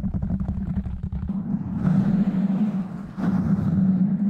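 Fingertips of both hands tap quickly on a black foam windscreen over a microphone, making a rapid run of muffled, low thumps. Then one hand covers the foam and rubs it, turning the sound into a steady, rough scratching rustle with a low hum and brief bursts of brighter hiss.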